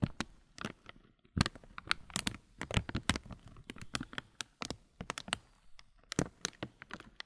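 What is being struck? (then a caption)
Clear plastic bag of granola. Fingers rub and crinkle the loose top film of a clear plastic muesli bag full of granola. Dozens of short, sharp crackles snap out in quick, uneven bursts, bright and dry, with a low rustling body underneath and almost no ring after each one.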